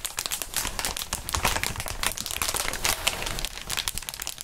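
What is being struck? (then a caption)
Inflatable plastic air-column cushioning sheet. A large, clear plastic inflatable air-column cushioning sheet with hollow, air-filled tubes is stretched and crinkled between gloved fingertips. The result is a dense, continuous run of bright, crisp crackles and crinkles with short rustling bursts and a faint low rumble underneath.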